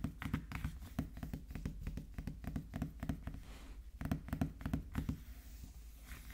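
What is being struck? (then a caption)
Small cardboard box. A small, sealed, printed cardboard iPhone 13 Pro Max box lies face-up on a wooden table and is tapped and knocked with the fingertips of both hands. A fast, uneven run of short, dull, hollow taps with mostly low, boxy thuds dies away almost instantly. The tapping eases briefly before a second burst of firmer knocks.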